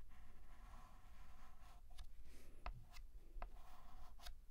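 A hand draws a curved letter S with a stick of white chalk on a large, flat, black painted blackboard. Soft, dry scratching strokes are broken by several short, sharp chalk taps and scrapes, with a faint high squeal partway through. The clip is quiet over a low, steady background rumble.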